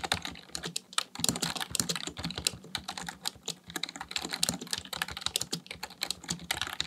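Fingertips type rapidly on the keys of a black plastic full-size computer keyboard resting on a desk. A steady stream of quick, bright, dry clicks and clacks follows with almost no ring, plus a faint low hum underneath.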